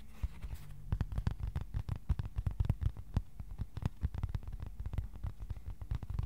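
Fingertips tap rapidly on a thin, flat white cardboard sheet about A4 size, held at an angle. The result is a steady, irregular patter of soft, dull, low thumps. Each tap dies away almost instantly, with no bright ring.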